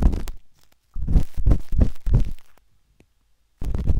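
The metal tip of a wooden-handled dot stick scratches inside the ear canal of a pale pink, soft, solid silicone ear on a binaural microphone. The result is close, deep, muffled scraping and rumbling in short bursts, separated by silent pauses.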